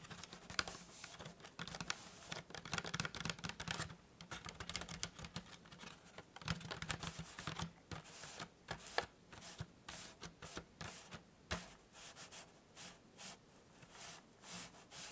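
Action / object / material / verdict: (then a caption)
tap / small cardboard tea box / cardboard / none. Fingertips and nails tap and scratch the sides and folded petal-style top of a small, hollow, white printed cardboard tea gift box held in both hands. Dense, rapid dry tapping and scratchy rustling fill the first half, then thin out into sparser, separate short clicks with almost no ring, over a faint low hum.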